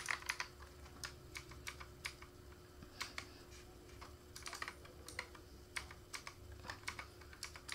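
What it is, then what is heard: Plastic mechanical keyboard being typed on. Fingertips of both hands type on the keycaps of a black plastic K28 mechanical keyboard resting on a foam mat. Bright, short clacks come in irregular quick bursts over a faint steady hum.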